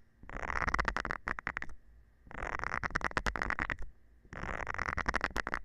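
A round green silicone scrubber pad with nubs, held in the hand, has its nubs scratched with a thin metal rod. Three bursts of rapid, dry clicking and scratching are separated by short quiet gaps, each with a bright rasp and a faint steady tone running through it.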